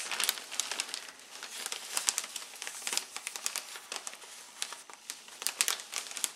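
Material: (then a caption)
Plastic, foam. Fingertips and a palm rub, press and crinkle the outside of a large, clear, thin plastic bag with red print, full of white and yellow foam packing peanuts. The result is a quiet, steady stream of bright, crisp crinkling and sharp crackles with almost no low end, each snap dying away almost instantly.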